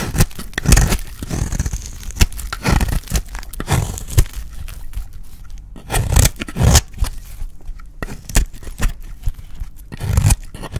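A dry, solid green soap bar held in the hand is scraped and cut with a utility blade into flakes. Repeated dry scraping and crunchy cutting strokes come in bursts, heavy in low rumble with brief bright, rasping edges.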